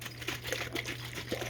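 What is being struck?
Glass jar of cream.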